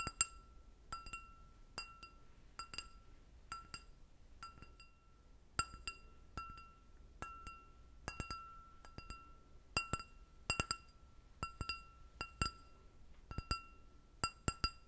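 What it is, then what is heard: Stemmed glass goblet. An empty, clear glass goblet with a short stem is tapped repeatedly with long nails. Each tap gives a sharp, bright clink with a short ringing tone and high shimmering overtones, over a faint low background hiss.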